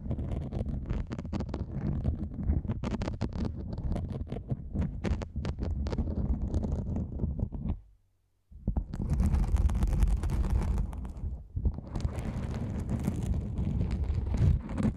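Long nails scratch and grip a black nylon fabric lens pouch held close to the camera, making dense, rapid, irregular rustling and scratching with a deep, muffled low-end rumble. The sound drops to near silence briefly around the middle, then resumes louder and brighter with crisper scratching.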